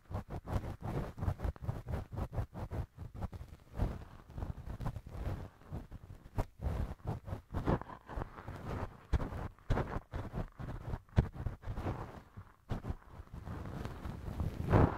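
A thin wooden earpick, held in fingers, scrapes and rubs inside the left ear of a soft solid silicone ear cover mounted on a binaural microphone. The result is a dense run of close, muffled, low-heavy scratching and rubbing strokes with short bursts and little high content, with no talking.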